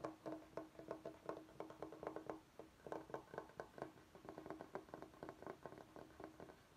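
Fingertips of both hands tap and scratch the face of a large, flat, solid bamboo cutting board held upright. The result is a quick, uneven run of soft, hollow wooden knocks with a mid-low tone around 316 Hz, each dying away almost at once, mixed with faint scratchy texture. It stays quiet throughout, with little deep bass or bright high content.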